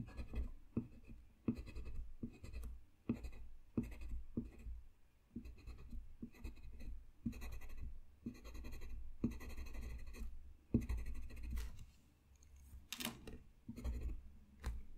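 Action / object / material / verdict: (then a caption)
scrape / colored pencil on a paper drawing sheet / paper / none. A blue colored pencil makes scratching strokes on a thin, solid sheet of flat white drawing paper lying on a desk. The sound is a soft, dry scratching, mostly low, with short bursts that come and go and brief quiet gaps between runs of strokes.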